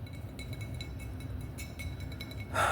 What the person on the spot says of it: Wine bottle Tapping 🍾